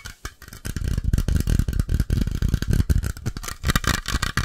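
A metal coffee can is tapped in a fast, continuous flurry. The taps are dull, low and knocking, each dying away almost instantly with little ring, with a faint rattling edge throughout.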